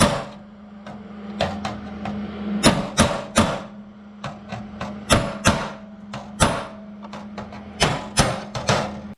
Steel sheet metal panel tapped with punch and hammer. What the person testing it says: when you first start tapping then it sounds real tiny but when you get against the backing part if you notice it has a more solid thud sound